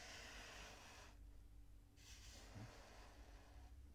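Fingertips press into a pink kinetic sand mound and rub its surface, making soft, bright grainy hiss. The rubbing runs for about a second, pauses briefly, then resumes for nearly two seconds before fading, all over a quiet low hum.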